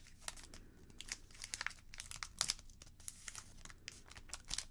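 A partly folded red origami paper crane base is lifted and held in the hands, then folded and creased with fingertips and long nails. Quiet, bright crinkles and sharp crackles come in a quick, uneven series over a soft rustling bed, each snap dying away almost at once.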